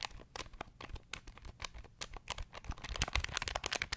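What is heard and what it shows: Fingertips press the keys of a small beige plastic pocket calculator held in the hands, producing a rapid run of sharp, bright clicking taps. The taps grow denser and louder toward the end.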